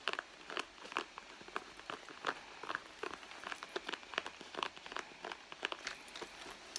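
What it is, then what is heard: Leather handbag. Long blue nails scratch and squeeze the front leather panel of a hollow, red soft leather handbag resting on a mat. The result is a quiet, steady run of short, dry crinkling and crunching scratches, bright in the upper mids with almost no low end and each sound stopping almost instantly.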